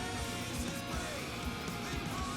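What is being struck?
Nothing is struck.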